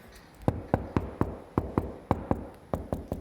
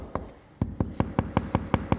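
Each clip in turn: First: About a dozen quick knuckle knocks on a ceramic floor tile, short and firm, sounding solidly bedded. Second: About nine quick, low knocks on a ceramic floor tile, dull and hollow-sounding, with no ring.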